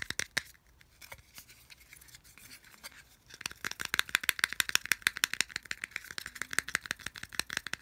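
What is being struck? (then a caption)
Small plastic earphone case. A small hollow white plastic earphone case is held in both hands while fingers flick and rattle its ridged edge slots. Sparse, soft clicks for the first three seconds give way to a dense, louder run of rapid, dry, bright plastic ticks and rattles. Each tick cuts off instantly with no ring.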